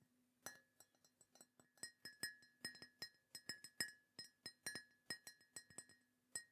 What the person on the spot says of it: it sounds great when you're tapping on it as well. It's got a really nice glaze on it, I assume, that just makes it sound lovely.